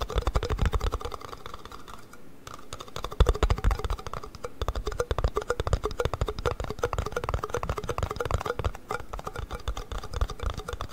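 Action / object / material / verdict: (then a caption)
tap / plastic yoghurt cups / plastic / none. Fingertips and nails rapidly tap the bottoms of two identical small, empty plastic yoghurt cups with paper labels, held upside down in each hand. The result is a dense, continuous patter of short, hollow clicks with a low thumping body and a faint pitched tone, briefly quieter near the two-second mark.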